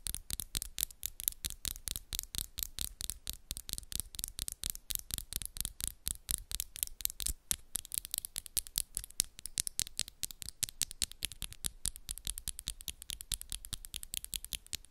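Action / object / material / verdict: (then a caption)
tap / acrylic fingernails / acrylic / none. Long, solid coffin-shaped acrylic nails tap and scratch against each other between both hands at a fast pace. The result is a dense stream of sharp, dry clicks with bright, high edges and almost no ring, continuing steadily throughout.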